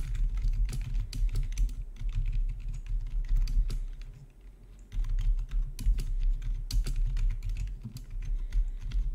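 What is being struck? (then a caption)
Plastic keyboard. Fingertips type on the keys of a full-size black plastic RGB backlit gaming keyboard with a hollow housing, resting on a marble surface. Rapid, uneven clacky keystrokes run over a steady low rumble, easing off into a brief lull around the middle before the typing picks back up.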